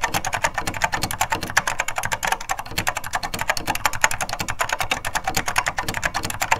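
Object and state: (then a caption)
Vintage mechanical keyboard with linear switches. A beige plastic SORD M101 full-size vintage mechanical keyboard with linear Mitsumi switches is typed on continuously by two hands, the fingertips pressing and bottoming out the keys. A dense, steady stream of sharp plastic clicks and clacks runs throughout, each with a bright attack, a low thock beneath, and almost no ring, recorded from just above the keyboard.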